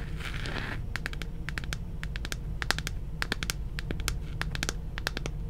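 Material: Plastic.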